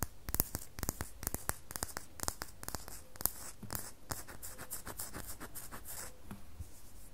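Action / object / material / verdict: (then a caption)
scrape / bar of soap / soap / none. Long nails scratch the top surface of a solid red bar of soap held just above a table. A quick series of short, dry, bright scratches crackles in rapid bursts, then settles into softer, continuous rasping toward the end.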